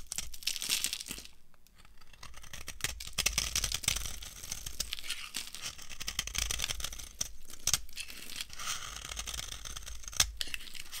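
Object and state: Dry soap bar shaved with a knife.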